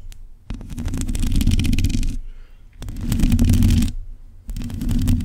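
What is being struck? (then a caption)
Metal mesh microphone grille scratched with fingernails. Long pointed acrylic nails scratch across a black metal mesh microphone grille in three bursts, separated by short quiet gaps. The scratching comes through as a close, boomy low rumble layered with dense crackling and scraping ticks.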